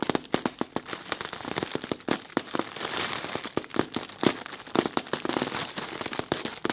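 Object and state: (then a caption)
Thin plastic bag crinkling. Fingertips with red nails scratch and pinch the wrinkled film of a translucent white, thin, soft and hollow plastic bag. Many quick, sharp crinkles and crackles come in rapid bursts over a steady bright hiss, with little low end.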